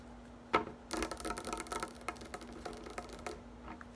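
Long nails tap and scratch the many thin upright spikes of a green plastic dish drying rack, first while it is held up and then with it resting on a table. A single sharp click is followed by a dense run of fast, crisp plastic tapping and raspy scratching that thins out into a few scattered clicks, over a faint steady hum.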